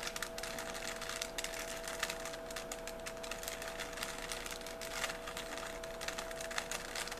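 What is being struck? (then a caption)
Plastic puzzle cube. A small solid 3x3 plastic Rubik's cube is held in both hands while its layers are turned with the fingers. The result is a steady run of rapid, bright plastic clicks and rubbing, with short sharp snaps over a constant faint tonal hum.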